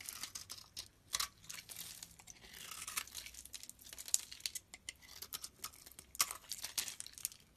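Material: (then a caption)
Soap. A solid white bar of soap, held in the hand, is scraped with a blade. It makes a run of dry, crisp, crinkly scraping strokes, bright and hissy with almost no low end, each stroke short with no ring, and a few louder sharp scrapes stand out.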